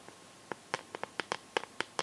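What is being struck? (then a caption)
Clear plastic phone case. Long nails tap and scratch the back and sides of a smartphone in a clear plastic case filled with liquid glitter. It makes a run of short, sharp, bright clicks with a thin, hollow plastic ring and almost no low end. The clicks are spaced irregularly over a quiet background.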